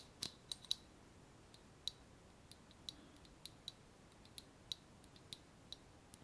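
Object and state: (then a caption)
Glass jar tapped with nails. A small, clear glass jar with a wire clasp lid, closed and filled with paper pieces, is held in one hand and tapped with long painted nails. The taps come as a string of sharp, bright, very short clicks, irregularly spaced, over a faint steady hiss.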